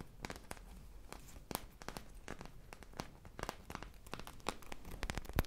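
A foam popsicle squishy toy with a beaded sprinkle surface is held in both hands and scratched and squeezed up close with long nails and fingertips. It makes a dense run of quiet, dry crackling and crinkling scratches with short bright snaps. Underneath is a soft, low, muffled rumble.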